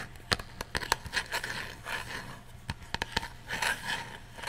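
Fingernails scratch and rub a hand-sized, coffin-shaped box of light, unfinished wood with a printed design, apparently hollow and held up close to the mic. Sharp, dry clicks and taps alternate with scratchy, bright rasps and brief rubbing swells that stop almost instantly.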